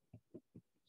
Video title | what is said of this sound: PM Artisan Bread Demonstration | you can hear how hollow it is, and you know, okay, it's had enough moisture evaporated and cooked all the way through, it sounds hollow enough